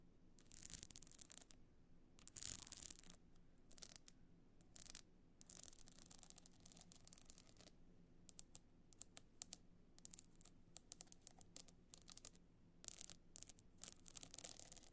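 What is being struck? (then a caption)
Box clutch covered in small stone chips. Long nails scratch across the pebble-chip surface of a hard box clutch lying flat. The sound is a quiet series of bright, dry scratching bursts, some long and some quick and clustered, each stopping dead, over a faint steady low hum.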